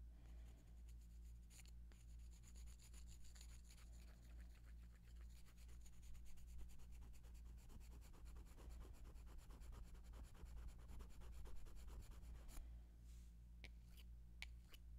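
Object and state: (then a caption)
Wooden colored pencils rubbed together. Two long, thin, solid wooden colored pencils, one purple and one red, are held in front of a microphone and rubbed and scraped against each other. The result is a dense, rapid scratching texture over a steady low hum, growing busier in the middle. A few sharper, bright clicks come near the end.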